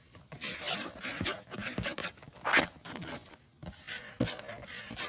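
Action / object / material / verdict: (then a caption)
scrape / printed cardboard tea box / cardboard / none. Fingertips and nails tap and scratch the front and back faces of a hollow, rectangular printed cardboard tea box, possibly holding sachets, lying on a fluffy rug. Dry, papery scratching bursts with a bright hiss alternate with short, hollow taps that die away almost instantly.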